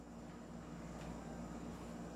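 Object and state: Nothing is struck.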